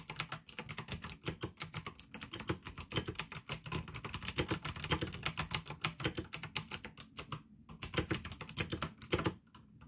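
Fingertips type fast on the keycaps of a full-size pink plastic AUKEY mechanical gaming keyboard with an RGB backlight, clicky blue switches and a hollow case. It makes a rapid, steady stream of sharp, bright clicks over a low, hollow thump. The typing briefly pauses near the end and then trails off.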